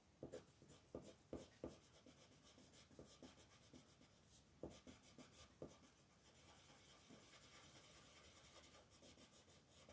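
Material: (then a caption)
Paper. A pink colored pencil scratches across a thin paper coloring book page, filling in flower petals while the other hand, with long red nails, holds the page. Quiet, dry rubbing and scratching strokes repeat throughout, with a few sharper, louder strokes near the start and around the middle. The sound settles into a steadier, bright scratchy hiss toward the end.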